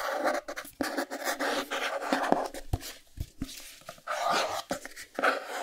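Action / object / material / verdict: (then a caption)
scrape / small cardboard box / cardboard / none. Fingertips and nails scratch and tap the sides of a small, closed white cardboard Chromecast box held in the air. Bursts of dry, papery scratching alternate with short, sharp taps, mostly in the mid-range with little low end. Each sound stops almost at once.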